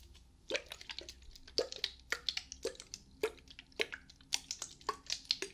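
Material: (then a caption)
Plastic. Long painted nails tap a small, hollow, pink-and-white dotted plastic spray bottle held close to a binaural microphone. Quick, bright, clicky taps come in an irregular rhythm, each one dying out almost at once. They have a slightly wet, dripping character over a faint low hum.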